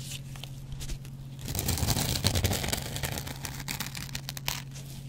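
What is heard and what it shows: A metal double-edge razor blade scratches the green abrasive side of a hand-sized, dry kitchen sponge made of yellow cellulose foam with a green scrub pad. Rapid, uneven, crackling scrapes swell to their loudest and densest in the middle before easing off, with a few sharper bright scratches near the end. A steady low hum runs underneath throughout.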